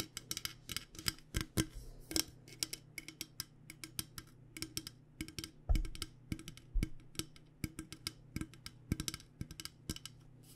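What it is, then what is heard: Metal water bottle. Long painted nails tap quickly and irregularly on a hollow, purple powder-coated Klean Kanteen metal water bottle. Dozens of short, bright clicking taps die away almost at once over a steady low hum, with one louder thump near the middle.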